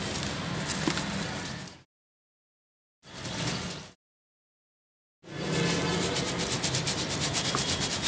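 Dry red soil fills a rectangular yellow plastic basket with perforated sides, which is held in both hands and shaken side to side so the fine soil sifts through the holes. Three bursts of steady, gritty hissing and rustling are heard, broken by silences, with the final, longest burst showing a quick rhythmic pulsing and a bright sifting texture.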